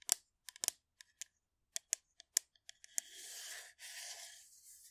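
A blue, hollow metal aerosol shaving foam can is moved around close to the mic while long nails tap its side, giving a run of sharp, bright clicks. After about three seconds the tapping gives way to two stretches of steady, hissy scratching against the can.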